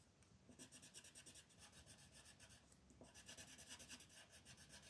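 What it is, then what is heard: Colored pencil shading on paper. A peach wooden pencil shades a white paper coloring page on a table in quick back-and-forth strokes. The result is a soft, steady, scratchy rubbing with a bright, hissy texture that pulses with each stroke, pausing briefly before resuming.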